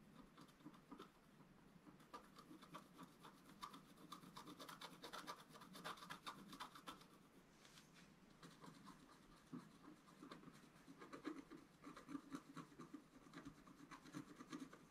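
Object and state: Scratch art paper sheet.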